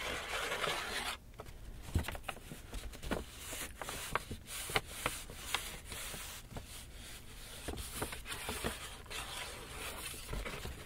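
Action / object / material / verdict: tap / empty paper shopping bag / paper / none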